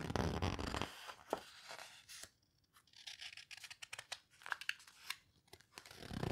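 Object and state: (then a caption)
Paper photo book pages. Long nails and fingertips turn and squeeze the pages of an open hardcover paper photo book. A full, low rustle of a page turning at the start gives way to quiet stretches broken by crisp, bright crinkles, scratches and sharp paper snaps. Another deeper page rustle swells at the end.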